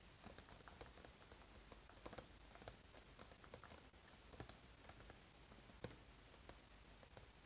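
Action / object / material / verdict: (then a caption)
tap / small printed cardboard box / cardboard / none. Fingertips tap rapidly and irregularly on the back of a small printed cardboard eraser box held up in the air. The taps are quiet, dry, light clicks with a bright edge and almost no ring, over a low, steady background hiss. A few taps land slightly harder than the rest.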